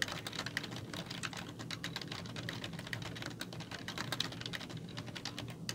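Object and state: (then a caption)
Plastic computer keyboard being typed on. Fingertips with long nails type steadily on a black plastic computer keyboard with hollow keys. The result is a dense, continuous run of quick, bright clicks and clacks over a soft, low hum, each tap dying out almost instantly.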